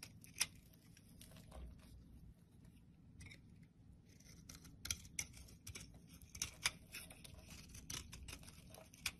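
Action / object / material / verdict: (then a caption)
scrape / bar of soap shaved with a blade / soap / none. A blade scrapes and shaves the top edge of a rectangular, solid white soap bar with crisp cuts. Quiet, bright, dry scraping and sharp ticking snaps come in irregular bursts over a faint low hum, with a few louder, short clicks that stop at once.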